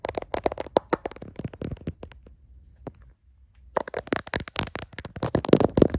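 Fingertips and nails scratch and tap the back of a hand-sized smartphone's clear plastic case and around its camera lenses, with the phone itself doing the recording. Quick, dry clicks and scratchy rustles come in dense bursts, broken by a near-silent pause with one lone tap before a louder, busier flurry resumes.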